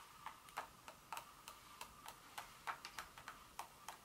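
Long fingernails on both hands tap across the surface of a solid dark chocolate bar lying on foil on a carpet. Fifteen quick, sharp clicking ticks land at an uneven pace over about four seconds. Each click is bright and dies away almost at once, over a faint steady hiss.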